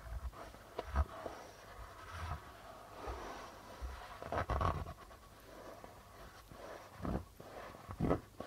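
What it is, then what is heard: Plastic-headed darbuka drum tapped and rubbed. Fingertips tap and rub the white plastic membrane of a hollow darbuka drum. Soft, low, muffled thumps stand out over quiet brushing and scratching textures on the drumhead. Each tap dies away almost at once.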